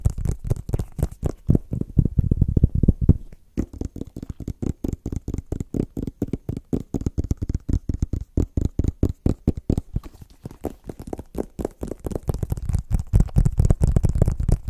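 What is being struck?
Small rigid cardboard box.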